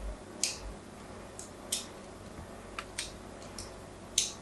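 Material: Soap.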